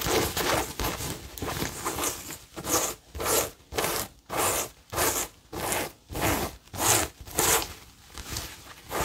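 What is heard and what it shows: A cream-coloured cotton tote bag with a blue and yellow printed logo is held up and scratched with fingernails across its printed surface. About ten dry, bright, raspy strokes come in quick, slightly uneven bursts, separated by short pauses and carrying little low end.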